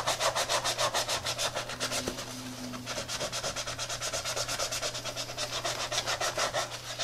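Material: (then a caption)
Textile, rubber. Gloved hands scrub the toe and midsole of a tie-dye Adidas textile and rubber sneaker, lying on its side, with a wet brush that works up foam. Quick, rhythmic back-and-forth brush strokes, a little over two per second, make a bright, wet, hissing rub over a faint steady low hum.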